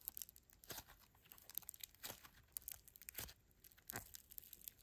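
A fist-sized, solid lump of greyish mixed foam bead slime is kneaded and squeezed with the fingertips and thumbs of both hands. It makes quiet, bright crackling and crunching, with rapid tiny pops and a few louder squelchy bursts spread through the clip.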